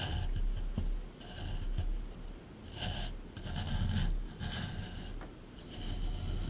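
A small flat metal scraper chisels and scrapes the hard surface of a rectangular solid plaster block from a dinosaur dig kit, set in a grey plastic tray. Gritty, bright rasping strokes swell and fade in waves over a steady low rumble, with a few sharp little ticks as the blade catches.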